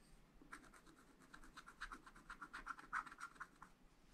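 A wooden stylus scratches short strokes into a black coated scratch-art paper sheet in a spiral pad. About nineteen quiet, dry scratches come at an uneven pace, each a brief rasp centered near 1.4 kHz with bright hiss above. The strokes grow louder and denser toward the middle before trailing off.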